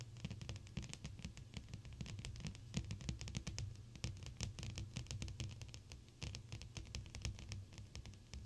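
Long, pointed blue acrylic nails tap rapidly on a large, flat, clear glass sheet with both hands, fingertips pressed flat against the pane. The result is a dense, continuous patter of short, bright clicks over a soft, low thudding body, with each tap dying away almost instantly.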